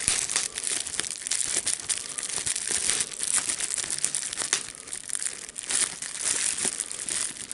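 A folded sheet of clear plastic bubble wrap with air bubbles is squeezed between the fingers, popping the bubbles and crinkling the plastic. Steady, dense crackling and crinkling is heard for the whole clip, with many short, sharp pops scattered throughout. The sound is bright and high, with almost no low end.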